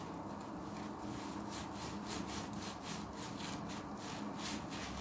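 An oval, tan, sea-sponge-style synthetic sponge with large holes, soft and wet, is held in one hand and rubbed repeatedly with a pink Dove bar soap held in the other, over a clear plastic tub with light suds. A steady, wet, scratchy rubbing continues throughout, with soft bright swishes pulsing in a quick rhythm from about the midpoint on.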